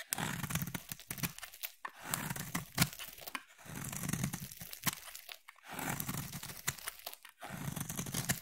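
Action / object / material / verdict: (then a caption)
scrape / solid bar of soap / soap / none. A utility blade carves and scrapes a solid, palm-sized orange bar of soap, piling up orange shavings. Several long, crunchy scraping passes with a low, dense body and bright crackling edges are separated by brief pauses, with short sharp snaps as the blade catches.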